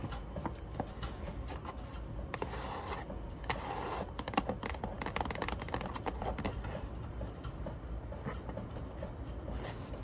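A medium rectangular printed cardboard product box (Lupantte Soccer Starry Creator), closed and likely holding the product, is tapped and scratched rapidly with long acrylic nails and fingertips on its top and front faces. The result is a steady, fairly quiet stream of dull, hollow taps mixed with dry, scratchy scraping. Each tap is short and dies away almost at once.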